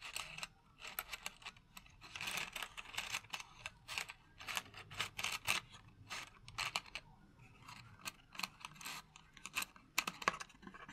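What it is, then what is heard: Cardboard matchbox. Fingertips and nails tap rapidly on the flat side of a small, hollow, purple cardboard candle-matches box held in the hand. The result is a quick, irregular run of dry, bright, clicky taps with a hollow papery tone near 1.1 kHz. Each tap dies away almost instantly, with very little low end.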